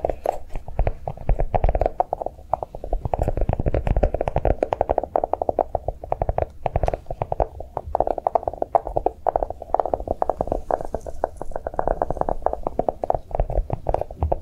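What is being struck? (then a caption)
Chocolate-shaped notebook. A notebook made to look like chocolate is tapped quickly and continuously, giving a dense run of soft, dull taps. Each tap is short and muffled, with a low thump and a mid-range knock but almost no brightness.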